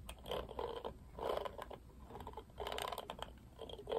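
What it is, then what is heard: Plastic paddle hairbrush. Fingertips brush and strum across the black plastic bristles of a pink plastic paddle hairbrush. The result is soft, dry, crackly bursts of rapid plastic ticking, centered in the midrange and coming in repeated waves. Each tick dies away almost instantly.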